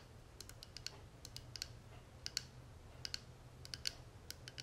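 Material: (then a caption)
Metal. Long natural nails tap and scratch the edges and face of a small, closed, hollow gold-tone metal cigarette case with a tortoiseshell-pattern panel, held in the hands. About eighteen quiet, sharp, bright clicks land at an irregular pace, each dying away almost instantly over a faint low hum.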